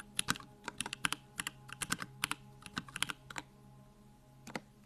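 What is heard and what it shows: Fingertips type on a backlit 65% Bakeneko65 mechanical keyboard with Durock Lavender switches and plastic keycaps. About 22 short, bright keystrokes come in quick, irregular bursts, each ending almost at once over a faint low hum. After a brief pause, one last pair of strokes closes the clip.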